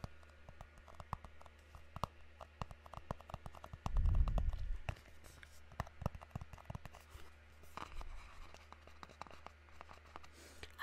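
A small, hollow, white rectangular cardboard box is held up close and tapped quickly and unevenly with fingertips and nails, giving soft, hollow knocks over a steady low hum. Around the middle, a louder low rumbling burst briefly swells before the light tapping continues.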